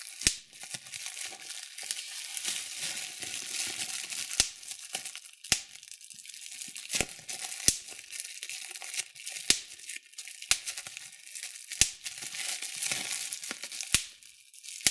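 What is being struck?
Plastic bubble wrap.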